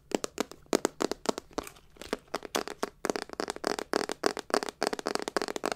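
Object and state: Hollow metal clutch purse.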